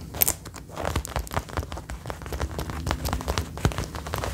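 Long nails on both hands scratch and tap the front chest panels of a worn brown faux leather jacket in a rain-like pattern. A dense stream of soft, dull taps and crinkly scratches patters on continuously, with a few sharper bright clicks standing out.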